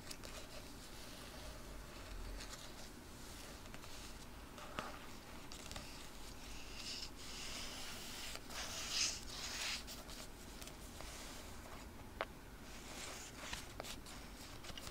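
A small paperback Betty & Veronica comics annual with a solid, glossy paper cover is held close to a microphone and handled with long nails and fingertips. The cover is tapped, rubbed and scratched, giving a soft, steady papery hiss with bright scratchy swells. A few sharp nail ticks stand out over the quiet background.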